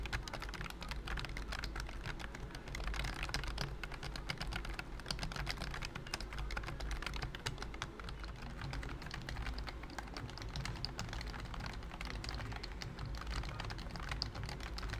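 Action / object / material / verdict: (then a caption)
tap / plastic computer keyboard / plastic / none. Fingertips type steadily on a pink BT21 COOKY plastic keyboard with round white keycaps and a hollow body. The rapid, dense clicking sounds light and plasticky over a steady low hum around 105 Hz. Each keystroke dies away almost instantly.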